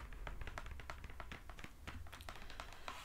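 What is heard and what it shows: Long acrylic nails tap rapidly on the flat face of a small, hollow brown cardboard Amazon mailer box held up in the hands. The result is a quick run of light, dry clicks with a hollow, papery knock and short ring, over a steady low hum.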